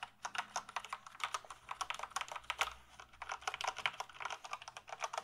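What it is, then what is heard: Plastic computer keyboard being typed on. A full-size plastic gaming keyboard is held tilted while fingertips type on its keys. About three dozen quick, light plastic clicks and taps come in an uneven, rapid rhythm. Each is short and bright with almost no low end and dies away almost instantly.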